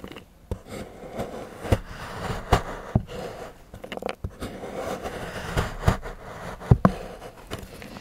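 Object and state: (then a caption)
Milk chocolate bar. A large steel knife shaves and scrapes curls from the edge of a solid milk chocolate bar held by fingertips on a patterned board. Soft, low scraping runs throughout, broken by short, dry clicks and snaps that die away almost at once.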